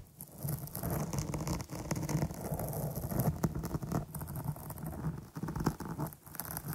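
Long nails rapidly scratch and tap the top of a dark porous foam microphone windscreen. The result is a close, continuous, muffled rustling and scraping with a heavy low thump and scattered bright crackles, without pause for nearly seven seconds.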